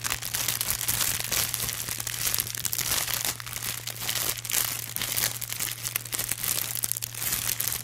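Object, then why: Thin plastic film bags. A pack of thin, iridescent blue holographic plastic film gift bags is held up in one hand while fingers rub and crinkle the plastic. The result is a continuous, bright crinkling and crackling that stays dense and high throughout. A steady low hum runs underneath.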